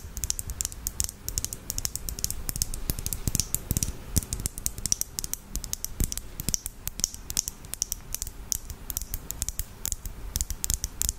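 Long acrylic nails rapidly tap a small clear lip gloss tube filled with red gloss and topped with a black cap, held close in front of a microphone. The taps are quick, dry, bright clicks with a soft low thump beneath them, each dying away almost instantly. They come in a dense, uneven patter like fast typing.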